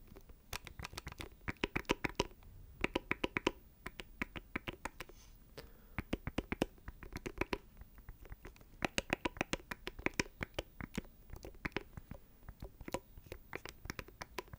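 Fingernails scratch and tap a small, hollow black plastic audio interface held close to the microphone. The result is rapid bursts of short, dry, bright clicks that die away almost instantly, with a hollow plastic tone and scratchy rustle between brief pauses.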